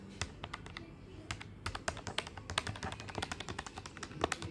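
Fingertips tap quickly on the plastic keys of a black plastic desktop calculator with a hollow body. The result is a rapid, uneven run of short, dry, bright clicks with almost no ring, over a faint low hum.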